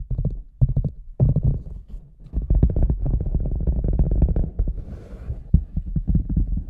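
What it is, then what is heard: Rubber boot. A hand taps over the top opening of a large, hollow red rubber boot with a microphone inside, then fingers tap along its sides. The taps come as rapid, deep, muffled thumps with a hollow, boomy low resonance and almost no high end. Each thump dies away almost instantly.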